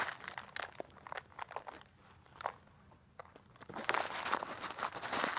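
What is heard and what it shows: A clear plastic bag of coarse rock bath salt crystals, held upright, is shaken and squeezed with fingers and long black nails so the crystals crunch inside. Scattered bright, crinkly crunches come at an irregular pace, thin out into a quieter stretch around the middle, then build into a louder, denser run of grinding crunches at the end.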